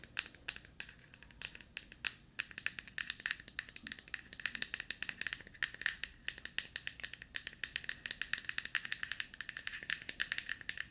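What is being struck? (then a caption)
Plastic deodorant stick. Long painted nails tap and scratch a small, hollow, light-blue plastic deodorant stick held in one hand. Dozens of quick, dry, clicky taps and scratchy strokes come through with a faint hollow ring around 1.8 kHz. The sound is bright and sharp, with almost no low end.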